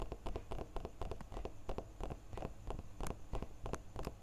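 A small, solid, clear laser-engraved glass crystal block is held between both hands and tapped with fingertips and nails along its sides. The result is a quick, irregular patter of short, dry clicks, each with a soft low thump beneath a bright tick, dying away almost instantly.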